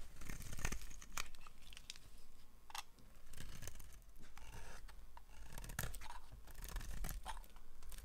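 A solid, hand-sized, cream-coloured Camay bar of dry soap is held in one hand and carved with a yellow utility-knife blade that shaves off curls. Repeated crisp, dry scraping and crackling strokes sound over a soft low rumble. Each stroke rises and fades quickly with a bright edge.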